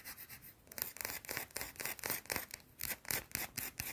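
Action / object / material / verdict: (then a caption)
scrape / bar of soap / soap / none. Long blue nails rub and scratch a small, round, flat, solid white soap bar. The result is a fast series of short, dry, raspy scrapes, about four per second, with a bright, hissy top and little low end.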